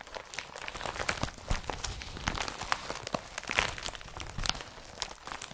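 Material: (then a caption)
Polypropylene. An empty blue IKEA BRATTBY woven polypropylene carrier bag is gripped, crumpled and then rubbed by hand. It makes dense, bright crinkling and crunchy rustling with quick overlapping bursts that stay at a fairly steady level throughout.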